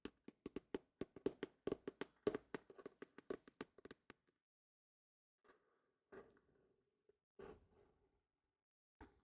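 Fingertips tap on the hard cover of an old thrift-store copy of *The Man in the Iron Mask*. About four seconds of rapid, dry, hollow knocks centered around 420 Hz die out almost instantly. After a pause, a few softer, scattered taps follow.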